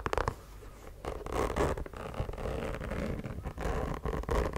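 Long nails scratch along the rubber sole edge and the leather upper of a white sneaker. The result is a dense, continuous rasping and scraping, with quick scratchy strokes over a dull low rumble and soft, muffled bursts that rise and fall throughout.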